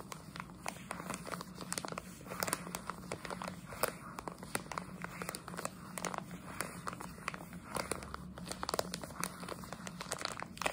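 A plastic jelly bean bag held in one hand is crinkled and scratched with long nails. Dense, sharp crackles and crisp rustling run through the whole clip over a faint low hum.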